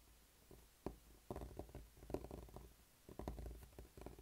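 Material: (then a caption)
Rubber. A small, solid, blue spiky rubber massage ball is rubbed and pressed with the fingertips on a dark tabletop. It gives quiet, muffled, low rubbery squeaks and scuffs in short clustered bursts with brief pauses between them. Each sound dies away almost at once.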